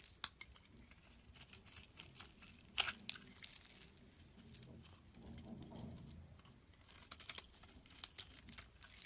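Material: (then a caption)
Soap. A utility knife blade scrapes flakes off the top of a green rectangular bar of solid soap held in the palm. Quiet, bright scraping and crisp crackly ticks come in irregular bursts, with a few sharper clicks standing out. Between strokes there is a soft, low crumbly rustle.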